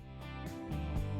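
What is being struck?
Nothing is struck.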